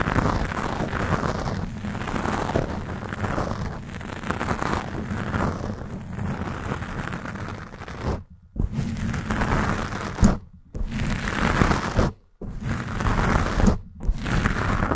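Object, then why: Foam microphone windscreen. Long acrylic nails of both hands scratch a black foam windscreen on a Blue Yeti microphone, sometimes fast and sometimes slow. The result is a dense, muffled, rumbling scratch that sits mostly in the low end and has little brightness. It runs almost continuously, broken by a few brief silent pauses in the second half.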